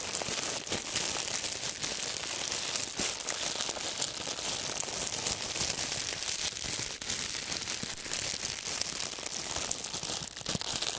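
A loose bundle of thin, clear, wrinkled plastic wrap is crushed and crinkled between fingertips and gloved hands. It makes a steady, dense stream of bright, crackling crinkles with almost no low end and no ringing after each snap, holding an even level for the whole eleven seconds.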